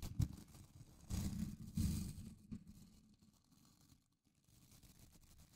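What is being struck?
Plastic scrub brush with nylon bristles.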